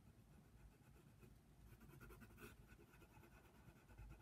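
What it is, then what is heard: Pencil shading on paper. A wooden colored pencil scratches over a thin paper coloring book page resting on a table, making shading strokes around a giraffe's face. The result is a quiet, steady, continuous scratching with soft rhythmic strokes over a low rumble, and faint bright grainy texture that swells briefly midway.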